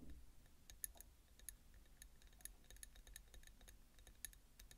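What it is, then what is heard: Ceramic bowl tapped with nails. Long nails tap quickly and repeatedly on the outer wall of a small ribbed peach ceramic bowl full of roasted pumpkin seeds, which sits on a bamboo plate. Each tap is a short, bright click that dies away almost instantly, over a soft low rumble. The overall level is quiet.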